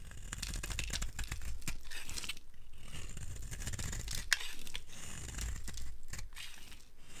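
A dry, solid yellow bar of soap is held in the hand and scraped with a utility blade, and crumbly shavings come off. Quick, dry scraping and crunching strokes follow one another with a brittle, tearing texture, and one sharper scrape stands out near the middle.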